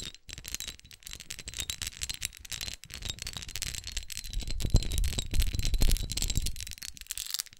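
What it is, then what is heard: Textured glass perfume bottle. Long acrylic nails tap and scratch across the pyramid-studded face of a small red glass perfume bottle with a rose cap, held in hand. Quick, irregular clicking taps blend with dry, rattly scratching over a soft low thumping and a faint steady high tone. The sound grows louder in the second half before easing off at the end.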